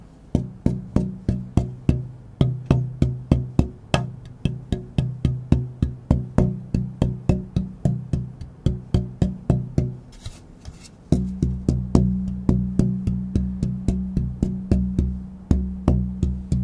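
A thin, pale spruce tonewood plate, a solid guitar-top blank about 50 cm long, is held up by one edge near a microphone and tapped with fingertips or a knuckle in a German spruce versus Sitka spruce soundboard tone-tapping test. It gives a rapid series of short, hollow, woody knocks with a low resonant pitch and a brief ring. After a short pause near the middle, the tapping resumes with a steadier, slightly different low tone.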